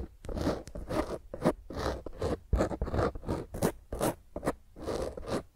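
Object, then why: Foam microphone windscreen. Long nails scratch a black foam microphone windscreen, first held in both hands and then with one hand on top. Rough, irregular strokes produce bursts of crackly scraping with a low rumble underneath and brief bright hiss on the sharper strokes.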